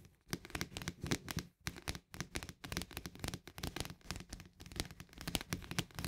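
Fingernails tap rapidly on the rim and flat top of a green plastic snap lid on a paperboard barley canister. The result is a fast, uneven stream of short, dry clicks with a hollow low thud under bright ticks, broken by brief pauses.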